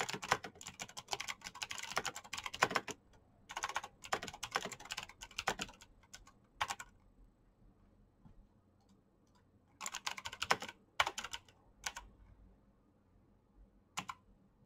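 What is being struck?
Plastic mechanical keyboard.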